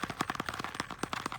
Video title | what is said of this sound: October Harvest | if i tap it it sounds extremely hollow so this one's totally ready to be picked